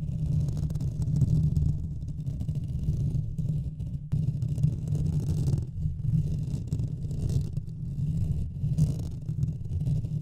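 Both hands scratch the top of a Blue Yeti USB microphone's hollow metal mesh grille, on its metal body, with fingertips and nails throughout. The close scratching comes through as a dense, continuous low rumble centered around 156 Hz, with faint brighter rasping above it. Its level stays fairly steady, with only brief dips.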